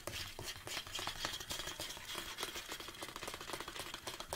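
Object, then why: Large plastic supplement tub. Fingertips and nails tap the sides of a large, hollow black plastic Anabolic State protein tub held upright on a table. The taps come in a rapid, irregular stream of short, bright clicks that die away quickly. A faint tone near 3.2 kHz sits under them.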